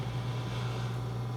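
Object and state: Nothing is struck.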